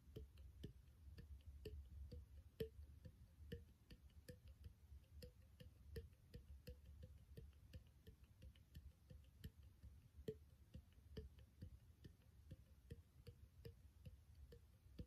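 A small, empty, clear glass bottle with a threaded neck is tapped and rubbed near the neck with fingertips and nails. The result is a steady run of quiet, short, hollow ticks with a faint glassy ping around 445 Hz, over a low, soft background rumble.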